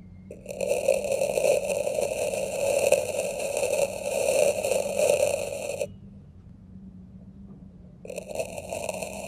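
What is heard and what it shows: A dark metal knife tip is pressed into a small square plastic tray packed with red kinetic sand and dragged, scratching lines through it. It makes a steady, crunchy, squeaky scrape with a mid-pitched hum and bright overtones that runs for about five seconds, stops for two seconds of near silence, then starts again near the end.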